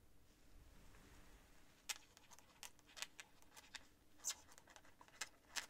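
A quill nib scratches across a sheet of thin cream writing paper during handwriting. Quiet, bright, dry scratches arrive at irregular intervals over a faint low hum, with a few sharper strokes standing out near the end.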